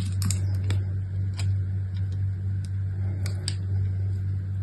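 A solid rectangular bar of soap with brown, white and purple stripes is held in one hand with long nails and carved and scraped with an orange utility knife blade. Short, crisp clicks and scrapes tick out irregularly over a steady low hum.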